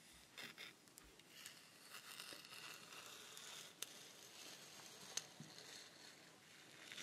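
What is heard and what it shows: A long, hollow wooden rainstick held close is tapped and scratched along its wooden surface by long nails, then held horizontally in both hands. The sound is quiet, bright and scratchy, with a crinkly texture and a couple of sharp, high clicks standing out from the steady rasp.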